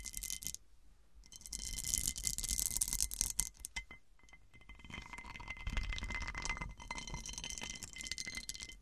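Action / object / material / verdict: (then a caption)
scrape / cut-glass serving dish / glass / none. Long dark nails and fingertips scratch and tap the textured, faceted surface of a large, round cut-crystal glass serving dish that sits upside down and hollow. Bright, rasping scratches mix with quick, irregular clicking taps and a faint glassy ring, with a few short pauses between bursts.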